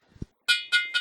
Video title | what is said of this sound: HPA Systems Product Overview | it still sounds like metal though it has a aluminum liner with high performance carbon fiber over wrap